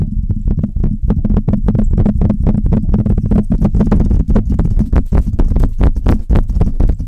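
Long red nails tap the metal body of a Blue Yeti USB microphone, then scratch its mesh grille. The result is a dense, rapid run of deep, bass-heavy thumps that die away almost instantly, with faint bright scratchy streaks over them, especially toward the end.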